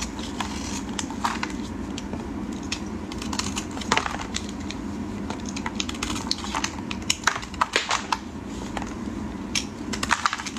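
A solid yellow bar of soap, held in hands wearing pink finger cots, is scraped and cut with a metal blade while flakes fall onto a plastic tray. A steady, dry, crackling scrape runs throughout, punctuated by many short, sharp, bright crunches and ticks that stop dead with no ring.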